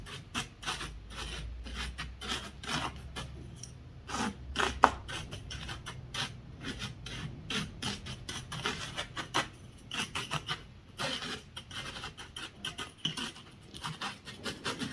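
A hand-held wooden honey dipper taps and scratches across a loose, dry bed of beach gravel made of small pebbles and shell grit. The result is a steady stream of short, gritty scrapes and rasping clicks with bright, crackly edges, and one sharper tap stands out near the five-second mark.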